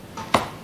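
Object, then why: Wooden speaker cabinet. Two taps on the body of a speaker cabinet, a faint one followed by a sharper knock, each with a brief ring centered near 1 kHz. The cabinet is checked because a good one must not sound hollow, since hollowness affects its resonance.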